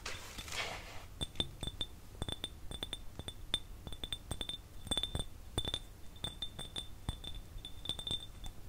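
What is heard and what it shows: A small, empty, clear glass jar, hollow and without a lid, is tapped with the fingernails of both hands after a brief soft hiss at the start. The rapid, irregular clicks give off bright, glassy pings that ring near 3.6 kHz and fade almost instantly, over a faint low rumble.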